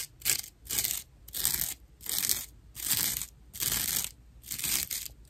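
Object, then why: Natural loofah sponge. Long nail tips scratch across a dry natural loofah slab with loose fibers at the edges, making seven rough, bright, crunchy scratching strokes. Each stroke is separated by a brief pause, and there is almost no low end.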